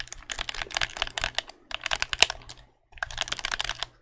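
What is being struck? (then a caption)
Plastic game controller. A white, hollow plastic game controller is held in both hands while its buttons are clicked rapidly with thumbs and fingertips. The sound is a stream of crisp, bright plastic clicks in three bursts separated by short pauses, with very little low end and no ring-out.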